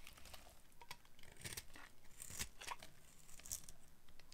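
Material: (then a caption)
Soap. A solid rectangular bar of dried dark blue soap, held in the hand, is carved with a metal blade that cuts thin crunchy strips. Dry, bright scraping and crackling crunches repeat in quick bursts, with short sharp snaps that die away almost instantly.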